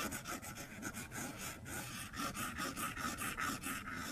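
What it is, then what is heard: Stylus scratching a glass tablet screen. A plastic stylus tip scribbles across a flat glass iPad screen, with some taps, scratching the glass. It makes a steady run of quiet, raspy strokes at roughly two per second, each carrying a bright, squeaky tone around 1.3 kHz over a soft low rumble.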